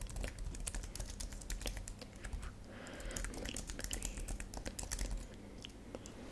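A thin white and silver plastic computer keyboard, lit purple, is typed on with long nails and fingertips in slow, uneven taps. Each key gives a short, crisp plastic click with a quick decay over a low steady hum, with a brief soft hiss near the middle. There are no words.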